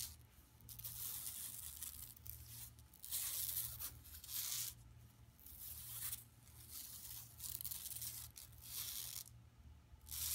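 Long nails scratch and rub across a flat, empty yellow woven plastic mesh tote bag lying on carpet. The result is a series of bright, raspy scratching bursts that swell and fade in long strokes, with a steady low hum underneath.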